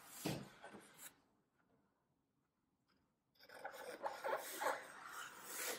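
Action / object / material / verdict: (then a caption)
scrape / green floral foam block / floral foam / none. A small knife slices grid cuts into a solid green floral foam brick standing upright and held in a palm. Soft, rasping scrapes open the clip, followed by about two seconds of near silence. Then a denser run of gritty slicing strokes builds to a louder finish.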